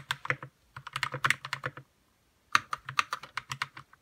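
Fingertips type on a white RK61 60% mechanical keyboard with plastic keycaps, lubed red switches and a hollow plastic case. Nineteen short, dry keystrokes sound in two quick bursts separated by a half-second pause, each a clacky tap centered around 1.2 kHz with a bright top and a faint low thock from the hollow case.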